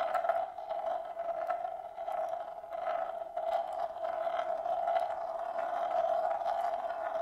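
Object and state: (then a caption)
Marble rolling on a bamboo plate. A single glass marble rolls in circles on the inner surface of a large, shallow, hollow bamboo plate held empty in both hands. It makes a continuous rolling drone with a steady resonant tone near 660 Hz, marked by repeated bright ticks as the marble circles.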